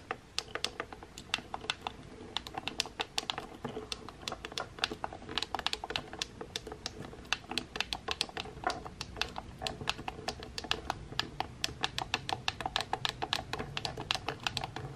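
Nails and fingertips tap and press the buttons on the metal button panel of a pink plastic hair straightener. Dozens of quick, sharp clicks and taps follow one another steadily for the whole clip, each bright and dying away almost instantly over a faint low background hum.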